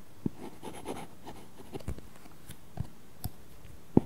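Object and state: Stylus on a paper-texture screen protector.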